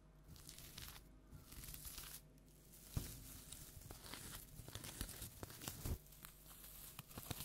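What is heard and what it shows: A large orange plastic tinsel jack-o'-lantern is scratched with long nails, making a steady crinkling, rustling tinsel sound. Sharp crackles and scrapes come in uneven bursts, with a few louder snaps standing out from the quiet, close texture.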